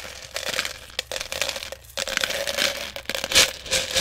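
Fingers dig into and stir small plastic airsoft BBs in a clear plastic jar that is partly full. The result is a dense, bright rattle of quick clicks and crinkly shuffling that rises and falls in bursts, with a faint steady tone underneath.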